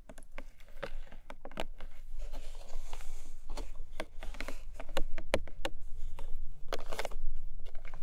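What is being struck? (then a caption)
Cardboard gift box. Long pastel nails tap and scratch the top of a hollow, long, narrow pink-beige printed Emi Jay cardboard gift box lying on a fluffy rug. Quick, dry, hollow taps land in an irregular patter over a continuous scratchy rustle, with a low, dull body to the sound.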